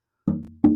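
Two taps on the back of a handmade guitar made of old-growth Brazilian rosewood ring out with a warm, resonant tone centered around 300 Hz. Each decays over a fraction of a second. The ringing resonance is a good sign that it will be a good-sounding guitar.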